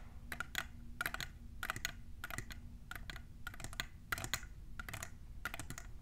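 A tall, hollow, clear plastic Hocus Pocus tumbler standing on a table is tapped on its sides by long nails fitted with colorful plastic clips. Quick clusters of short, bright clicks ring around 2 kHz and die away almost instantly, over a steady low hum.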